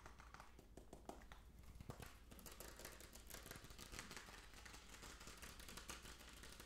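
A small hollow plastic jar of fish food with a blue plastic screw lid and some contents inside is held in both hands and tapped rapidly with fingertips and nails on the lid and sides. A fast, dense stream of short, dry, clicky taps with bright hollow ticks rides over a steady low hum. The taps stay quick and fairly even for the whole clip, with a few sharper accents.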